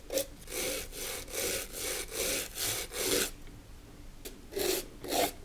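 A stiff wire brush scrubs a small, hollow, empty brass/copper handbag held in a gloved hand, its surface heavily rusted and corroded. Rhythmic, rasping back-and-forth strokes give a bright, hissy scratch with a faint metallic mid tone. After a brief pause, a few more strokes follow.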